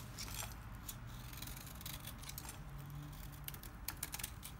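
A solid lime-green oval Timotei bar of dry soap, held in the hand, is shaved with a small kitchen knife so flakes curl off. Soft, dry scraping and cutting is heard, with crisp, bright little clicks and scratches over a steady low hum.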